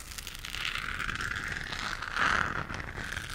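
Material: Plastic.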